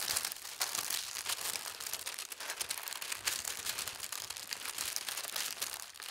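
A large, thin white tissue paper sheet lies flat on a fabric tablecloth while fingertips with long red nails smooth and rub it, then lift the edge to fold it. The result is a continuous bright crinkling and rustling with many quick crackles, soft and steady throughout with almost no low end.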